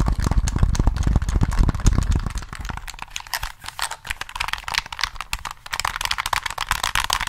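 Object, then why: Plastic game controller. A hollow black plastic Sony PS3 controller is held in both hands while fingertips tap its face, triggers and buttons in a quick, uneven stream. For the first couple of seconds the taps land as deep, booming thuds. They then turn into lighter, brighter plastic clicks and rattles with very short ring.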